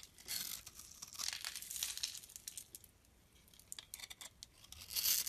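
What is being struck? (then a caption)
Bar of soap. A blade scrapes shavings off a solid dark brown bar of soap, scored in a grid pattern and held in the hand. Dry, bright, crinkly scraping comes in uneven bursts with quick fades and almost no low end. The clip builds to a louder, crisper scrape at the end.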